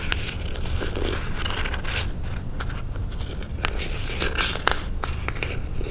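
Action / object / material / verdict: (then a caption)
scrape / small cardboard box / cardboard / none. Fingernails scratch and tap the lid of a small, closed white cardboard Pandora jewelry box held in both hands. The result is a steady, dry scratching crackle with brief bright clicks from the taps over a low, dull rumble.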